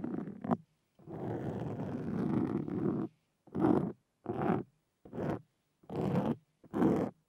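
Two wooden-handled carving tools with metal tips scratch a black foam windscreen on a Zoom recorder. Seven close, muffled bursts of scratching are heard, including one long stretch of about two seconds, with mostly low to midrange rasping and little bright content. Short silences separate the bursts.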